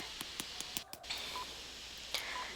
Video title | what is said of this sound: Instant Bread Tiramisu Recipe in Urdu Hindi -Tiramisu Without Eggs & Oven- The Home Maker Baker | how crispy it is you can hear the sound that its hollow from the inside